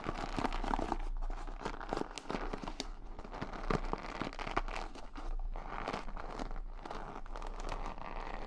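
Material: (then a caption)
Wood. Fingertips and nails rub and scratch along the wooden pin bristles of a large wooden paddle hair brush, the pins set in a cushion and the brush held up in both hands. A steady, dense stream of dry crackling and fine clicking scratches plays throughout, each tick short and dry with almost no ring.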